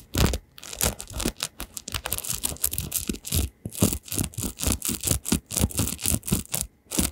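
Fingertips flick and scratch along the metal pin bristles of an oval paddle hairbrush with a printed picture on its back while it is turned in the hands. The result is a rapid series of short, crackly, scratchy bursts with a bright, hissy top and a soft low thump under each flick, separated by brief quiet gaps.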